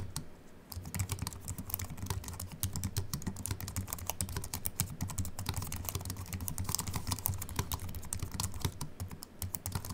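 A compact Apple keyboard with a silver aluminium body and white plastic keys, resting on a wooden desk, is typed on rapidly with the fingertips of both hands. A dense, steady stream of short, crisp key clicks with bright ticks over soft low thumps continues throughout, each keystroke dying away almost instantly.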